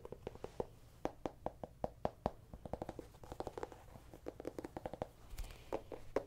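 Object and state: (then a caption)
Small pumpkin tapped with fingernails. A small whole orange pumpkin with its stem, a hollow gourd held in one hand, is tapped and scratched with long dark-painted nails. A quick, uneven series of short, dry, hollow taps with a mid-range knocking tone around 620 Hz mixes with faint scratching. The clip is quiet, with each tap dying away almost instantly.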